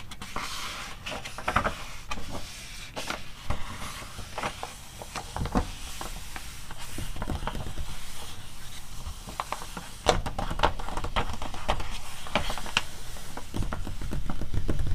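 Both hands with long nails scratch and tap the printed pages of a paper magazine open to its index spread. Dry, papery scratching runs throughout, broken by quick, sharp tapping clicks at an irregular pace. The sound is soft and steady, with a slight lift in level near the end.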